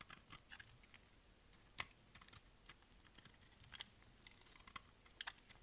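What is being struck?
Bar of soap.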